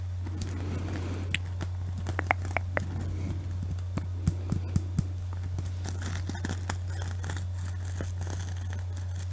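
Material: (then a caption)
Sequins. Long nails scratch and rub a small panda plush covered in flip sequins, held close to the microphone. The sequins make crisp clicks, ticks and dry rustling scrapes over a steady low hum. A few louder snaps stand out from the quieter scratching.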